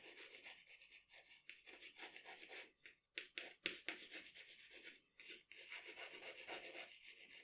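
A pencil shades the lips area of a portrait on a sheet of drawing paper with dense rubbing strokes. The result is a soft, bright, scratchy rasp in quick back-and-forth strokes of about four per second, with short pauses near three and five seconds.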